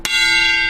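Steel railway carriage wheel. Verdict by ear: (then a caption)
Sound. A steel railway carriage wheel is struck once in a traditional wheel-tapping safety check, where a change of note would reveal a fracture. A single sharp tap gives way to a bright, bell-like ring centred near 2.8 kHz, with steady high overtones and a lower tone that sustain to the end of the clip.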